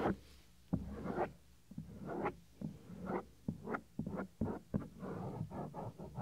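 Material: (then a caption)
Silicone. Fingernails scratch along the edge of the small, solid, white soft silicone ear cover on a 3Dio binaural microphone. The result is a series of short, dry, scratchy rubbing bursts at an irregular pace, each dying away almost at once. The sound sits mostly in the low and middle range, with almost no bright top.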